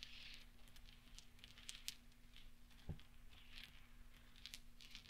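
Fingertips push and roll small solid steel pachinko balls across velvet so they clink together, giving a scatter of quiet, bright, short metallic ticks that die away almost instantly. A steady low hum sits underneath throughout, with a soft dull bump near the middle.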